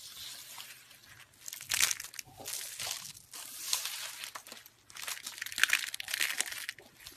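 A handful of thin, curled, dried pink soap strips, brittle and solid, is squeezed and crushed in the hands by the fingertips. It makes bright, dry crunching and crinkling in a series of uneven bursts with no low end, and each crackle stops short with no ring.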